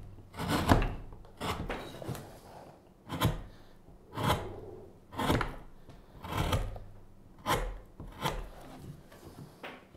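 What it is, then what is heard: Wooden spoon blank being carved. A gouge is pushed into the bowl of a solid pale wooden spoon blank lying on a cutting mat, scraping out the wood. Repeated rough, rasping scrapes come at an uneven pace of roughly one per second, each a short burst with a low body and a bright, gritty edge that fades quickly.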